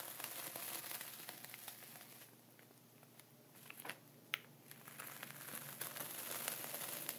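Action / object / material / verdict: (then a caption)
scrape / plastic zip bag filled with sea salt / plastic, salt / none. A dark wooden pointer scratches and traces lines through a flat layer of sea salt inside a clear plastic ziploc bag, with the other hand resting on the zip edge. Quiet, bright crinkling and gritty scratching fills the start and end, with a softer stretch in the middle broken by a few sharp ticks and crackles.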